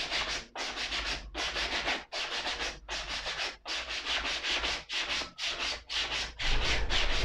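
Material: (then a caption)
Suede leather. A black suede ankle boot is held up and brushed along its upper with a small wooden-handled brush. About ten steady, bright, rasping brush strokes are heard, each a short scratchy swish separated by brief pauses. The final stroke runs louder and longer.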